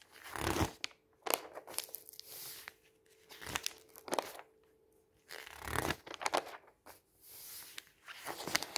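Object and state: Paper magazine pages.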